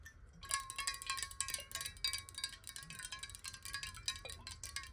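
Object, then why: Glass bottle with water. Long nails tap fast along the side of a tilted clear glass bottle with water inside. The rapid, bright clinks sound like wind chimes, each dying away quickly over a steady ringing tone near 1.1 kHz.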